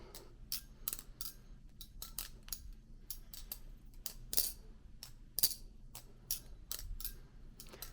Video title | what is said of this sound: The Production Kuno is amazing | the original prototype just sounds like it's ringing a lot more